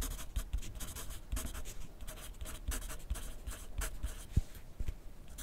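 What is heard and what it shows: A graphite pencil scratches across a thin lined paper pad lying flat on a desk in continuous writing. The clip carries a steady, bright, papery scratching with short pauses between strokes. Soft, dull low taps come through where the pencil presses the pad.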